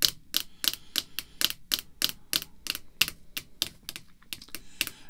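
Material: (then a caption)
Plastic. Long red fingernails tap a clear rigid plastic holder containing a baseball card as it lies flat on black cloth. About 19 quick, bright clicking taps come in an uneven rhythm, each dying away almost instantly with very little low end.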